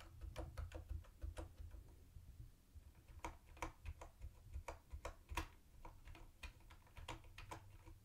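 Fingertips type on a mint-green plastic typewriter-style keyboard with round white plastic keycaps and a hollow body. The result is a quick run of short, dry clicks with a bright top and a low hollow thump under each press, and a brief pause near the two-second mark.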